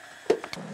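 In a mine tunnel, a hammer strikes the rock face three times to search for sericite, giving short, dull knocks that die away almost at once. The rock contains sericite, which makes it softer and the strikes sound duller.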